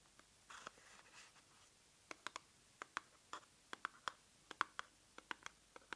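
A small, hollow pink printed cardboard box is held up and scratched and tapped with long nails. Soft, brushy scratching comes first, followed by a quick run of sharp, dry taps with a hollow mid-pitched knock and bright clicky edges. Each tap stops almost at once, and the whole clip is quiet.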